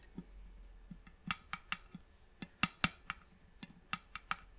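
Long manicured nails and fingertips tap on the top and sides of a closed, hollow, polished reddish wooden box with a brass clasp. The result is a quiet, irregular series of separate, short, dry clicks and taps, bright and sharp, with a faint hollow low knock underneath. Each tap dies away almost at once.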